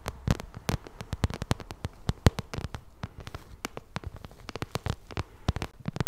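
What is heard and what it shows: Long red nails tap and scratch across a small, hollow, glossy pink vinyl cosmetic pouch. A rapid, uneven run of short, dry clicks rises from a soft scratchy bed. Each tap has a dull low thump and a bright snap that dies away at once.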